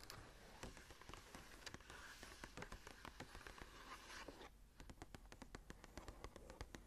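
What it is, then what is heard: Paper journal page being scratched. Fingertips and long nails scratch and rub the blank cream paper pages of an open journal lying flat. A dense, steady rasp fills the first four and a half seconds. After a brief drop, it gives way to a quieter stretch of crisp, separate scratches and ticks.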